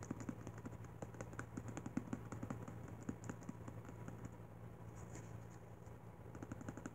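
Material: Paper.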